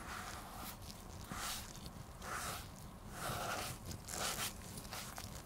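A black, vintage women's leather shoe, hollow and empty and held in gloved hands, has its upper near the heel rubbed with a dark cloth pad throughout. Steady, uneven swishing strokes come about once a second, each a burst of bright, airy scuffing over a soft low rumble.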